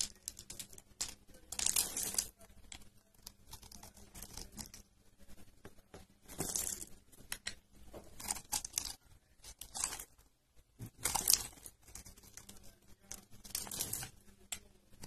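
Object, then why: Bar of soap. A metal blade shaves and crunches thin slices and small cubes off a solid, rectangular bar of dry, cream-colored pale yellow soap, its edge carved into cubes and held by fingertips. Bright, dry, crisp crunching and scraping come in repeated short bursts, with quieter crackles between them.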